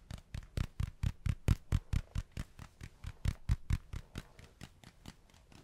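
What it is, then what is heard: Spiky rubber ball, tapped. A spiky rubber ball is tapped and handled up close, giving 25 quiet, short, dull thuds at a loose pace of roughly two per second. Each tap is a deep, low knock with a brief bright click on top and almost no ring, fading slightly toward the end.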